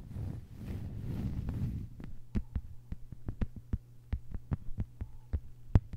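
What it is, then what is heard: Plastic cutting mat tapped with fingernails. Long white-polished fingernails from both hands tap a thin, solid, flat lime-green plastic cutting mat lying on a table. A muffled, low rustling scratch opens the clip, then gives way to a run of sharp, dry clicking taps with almost no ring, over a faint steady low hum.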